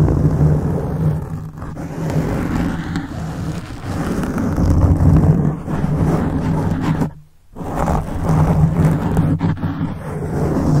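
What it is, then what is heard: Foam microphone windscreen being scratched. Fingertips of both hands rub and scratch around the sides of a black foam windscreen on a silver microphone. The result is a dense, muffled, low rumbling scratch with a steady low hum, briefly dropping to near silence around seven seconds before the rubbing resumes.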